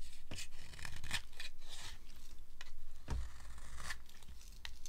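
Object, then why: Bar of soap cut with a small blade. A small metal blade cuts and scrapes shavings off a green-and-white striped solid dry bar of soap held in the hand. Short, dry, crisp scraping and crunching strokes come in quick bursts, with bright rasps over a faint low rumble.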